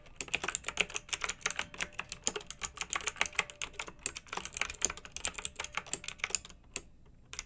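Long-nailed fingers type steadily on a pink backlit, typewriter-style plastic mechanical keyboard with round metal-rimmed keycaps. Dozens of quick, bright, clicky key strikes come in an uneven rhythm, each dying away almost at once. The typing pauses briefly near the end before a few final taps.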